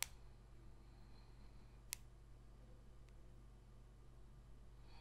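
Long pointed red nails tap sparsely on a single small, thin, glossy holographic cardboard football card held between fingers. Two sharp, very brief clicks stand out, one at the start and one near the two-second mark, over a quiet low hum with faint high-pitched traces.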